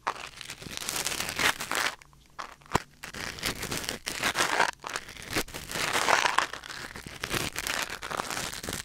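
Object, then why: Silicone ear on a binaural microphone, wooden ear pick. A thin wooden or bamboo ear pick held in the fingers scratches and scrapes inside the ear canal of a white silicone ear mounted on a black binaural microphone. The result is close, dense crinkling and crackling with bright, hissy texture. A brief quiet stretch near the two-second mark breaks it, marked by one sharp tap, before the scraping resumes.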